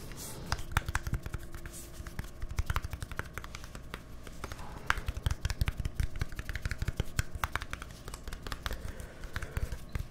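A small, hollow white plastic deodorant stick with a green cap is held in both hands close to the microphones and tapped quickly with fingertips and nails. The result is a rapid, continuous stream of short, dry clicks and soft hollow knocks that stop almost instantly. The knocks have a low, thumpy body, with brighter, sharper ticks from the nails on top.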